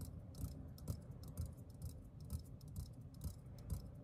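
A green metal aerosol deodorant can is held in one hand and tapped with the fingertips of the other. The taps are soft, low, hollow thuds that die away almost at once, coming in a loose, steady rhythm of about two per second. Faint bright ticks flicker above them.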